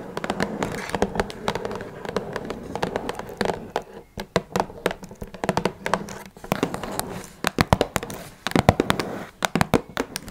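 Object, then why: Small cardboard box. Long red nails tap rapidly on top of a small, hollow blue Twinings cardboard tea box. The sound is a dense flurry of short, dry, hollow clicks and thumps, with a low body and a bright edge. The tapping thins into separate sharp ticks midway, then returns in quick bursts.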